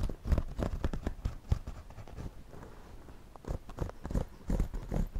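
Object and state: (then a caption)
Woven straw hat scratched with a pencil. A pencil draws and scratches across the front brim of a white wide-brim woven straw floppy hat worn on the head, while the other hand steadies the brim. The result is a run of quick, dull, low scratchy strokes and taps that come in bursts with quieter stretches between. Each stroke ends almost at once.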